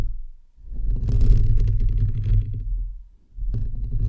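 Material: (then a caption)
Metal mesh. Fingertips and nails of both hands scratch the hollow, perforated metal mesh grille of a bare microphone head. The result is a deep, boomy rumbling scrape with a brighter gritty texture on top, swelling in the middle, dropping to near silence, then resuming.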